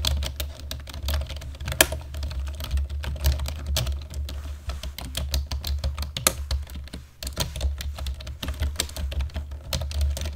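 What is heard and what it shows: Both hands type on a black plastic computer keyboard with their fingertips and short nails, producing a steady run of quick, dry clicks with bright, short ticks. A constant low hum sits underneath the typing throughout.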